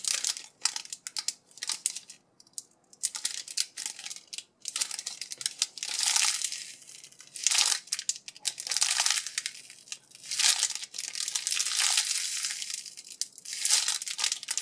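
A palm-sized Winnie the Pooh Tsum Tsum foam squishy, sealed in a clear crinkly plastic bag with a paper tag attached, is squeezed and pressed by fingertips and thumbs. The bag gives off bright, crisp crinkling in irregular bursts, with brief quiet gaps between presses and nothing in the low end.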